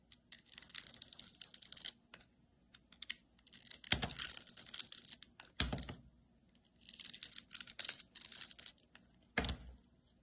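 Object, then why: Glycerin soap bar cut with a metal blade. A metal utility-knife blade slices and scrapes a palm-sized, solid oval bar of translucent green glycerin soap with glitter, held in the hand. Quick runs of crisp, bright, crackly scraping come in bursts, with a few louder, fuller cuts standing out among them. Between bursts there are short near-silent gaps over a faint low hum.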